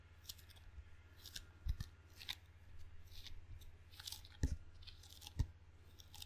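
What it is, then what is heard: Rubber-faced wooden table tennis paddle. Fingertips tap and stick on the black rubber face of a wooden table tennis paddle, producing soft, quiet taps with bright, crackly peeling sounds as the skin pulls away. A few thumps stand out over a steady low hum.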